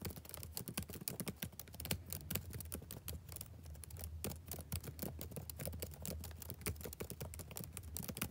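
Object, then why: Plastic laptop keyboard. Fingertips type steadily on the black plastic keys of a backlit laptop keyboard, making a dense run of quick, bright clicks and taps. Beneath the crisp keystrokes sits a soft, low hum, and each click dies away almost instantly.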